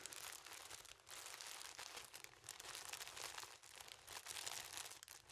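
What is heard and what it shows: Fingers squeeze and rub the clear plastic cellophane film tightly wrapped around a yellow object about 20 cm tall, held in both hands. A continuous, bright, crackling crinkle fills the clip with almost no low end, easing briefly around 1 and 3.6 seconds before picking back up.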